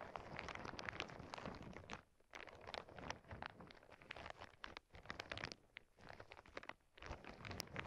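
Two hands with long painted nails press, squeeze and scratch a clear plastic zip bag full of small clear crystal beads, lying on a cork board over earbud mics. The result is a dense, continuous crinkling crunch with bright bead rattles and clicks. It dips into brief quieter pauses between bursts before the squeezing resumes.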